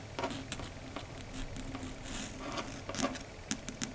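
Long red stiletto nails tap in a quick pattern on a flat, solid, dark grey chalkboard surface. Each tap is a short, bright click with a faint mid-low ring. The clicks sit over a soft, steady background hum.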